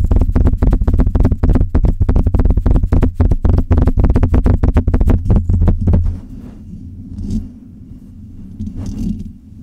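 Long red nails and fingertips of both hands scratch and rub the hollow metal mesh grille of a silver Blue Yeti microphone. A fast, uneven run of deep, boomy scratching thumps lasts about six seconds, then gives way to quieter, softer rubbing with a couple of brief brighter swishes.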